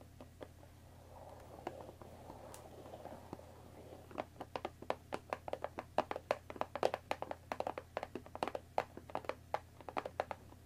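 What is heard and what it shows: Long dark nails scratch and tap the top edge of a closed Earl Grey tea box of thin printed cardboard, about 20 cm long and likely full of tea bags, resting on a wooden table. Soft, hollow scratching with a few light taps opens the clip, then quick, crisp taps run steadily to the end. The taps are quiet, dry and midrange, with almost no ring, over a faint low hum.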